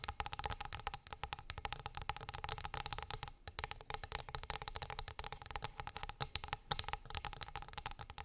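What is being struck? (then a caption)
Wooden plate or board. Long acrylic nails tap rapidly and continuously on a flat, solid wooden board lying on fur. The result is a dense stream of short, dry, bright clicks with a steady high ring and a soft low rumble underneath.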